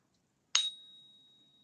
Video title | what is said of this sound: American Silvef Eagle | that is such a beautiful ring